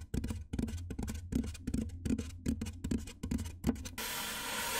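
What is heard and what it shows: Fingernails on both hands scratch and rub across the top of a large, white, hollow styrofoam box. Each stroke gives a dry, squeaky scrape with a hollow low thump underneath. The strokes come in a loose, uneven rhythm, then give way to a steady broadband hiss near the end.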